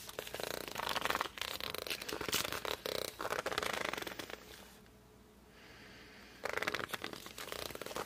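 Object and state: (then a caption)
Glossy hardcover book cover rubbed. Hands grip and rub the glossy cover of a hardcover book turned sideways, making dense, bright squeaks and scratchy rubbing. The rubbing stops for a quiet pause of about a second and a half, then resumes.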